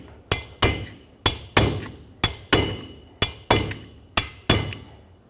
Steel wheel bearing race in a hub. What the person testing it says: You can hear a clear difference between when it's still going down and when it is fully seated.